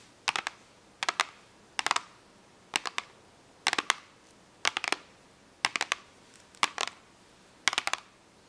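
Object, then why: Small cardboard box of markers. Long acrylic nails tap and scratch a small printed cardboard box of eight washable markers, which has a clear plastic window, is full of markers, and is lying flat. The sound is nine short bursts of quick, dry, bright clicks spaced across the clip, each dying away at once against a quiet background.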